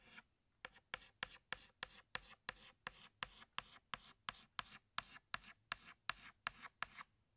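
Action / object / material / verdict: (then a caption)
scrape / chalk stick on a blackboard / chalk / none. A pink chalk stick held in the fingers rubs across a flat black chalkboard, retracing a flower outline. About twenty quick, evenly spaced scratchy strokes are heard, each a short bright rasp with little low end, separated by brief quiet gaps.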